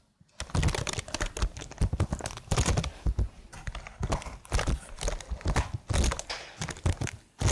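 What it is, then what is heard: Plastic computer keyboard. Long blue nails type on a slim black plastic computer keyboard with marble keys. A rapid, uneven stream of short clicks and taps follows, each with a deep low thump and a quick decay, fading into quieter clusters between bursts.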